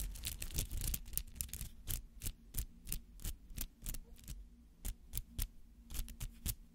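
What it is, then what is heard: Rubber artificial flower being scratched. Fingernails scratch the bristly petals of a palm-sized rubber artificial flower held close to the microphone. Quick, irregular bursts of dry, bright scratching come in rapid succession, some run together and some stand apart, over a low, steady hum.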